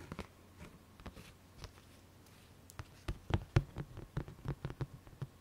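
Long fingernails of both hands tap and scratch the lid of a large printed Haribo plastic candy tub, first held up and then laid flat, where it sounds hollow. Quiet, sparse clicks in the first half give way to a denser run of louder, sharper taps. Each one is a short, dry knock with a low hollow body and almost no ring.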